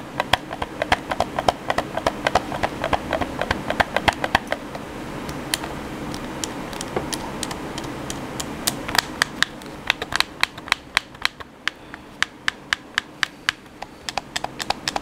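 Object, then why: Hollow plastic game controller. A black, hand-sized, hollow plastic PS4 controller is held in both hands over a table while fingertips and thumbs quickly tap and press its buttons. The result is a fast, irregular stream of sharp, bright plastic clicks with almost no ring, over a steady low background hiss. The clicks are dense at first, thin out midway, then return as crisper, more spaced taps toward the end.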